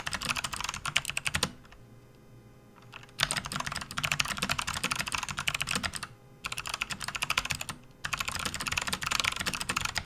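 Both hands type with their fingertips on a full-size, RGB-backlit plastic membrane gaming keyboard resting on a desk mat. The bright, rapid key clicks come in dense bursts, separated by brief pauses of near silence. Each press is short and dry, with almost no ring.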